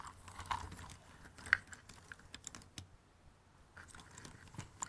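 Fingertips and nails rummage and scratch through a pile of thin cardboard jigsaw puzzle pieces in an open cardboard box. The result is a quiet, irregular stream of dry rustling and short, sharp clicks, with one brighter tick standing out near the middle.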